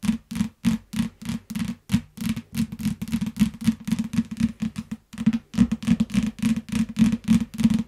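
Fingertips and long nails tap and scratch the glossy back cover of a solid yellow hardcover paper book lying flat on a grey mat. Quick, uneven taps come about three times a second, each a short, dull knock with a low body and no ring. Soft scratching rasps sit between the taps.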